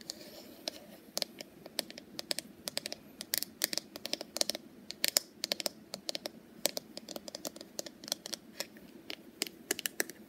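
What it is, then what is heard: Wooden paddle hairbrush. Long purple nails tap quickly on the wooden back and handle of a small, solid wooden paddle hairbrush with wooden pins. The result is a rapid, irregular run of sharp, dry, bright clicks that die away almost instantly over a faint, steady hiss.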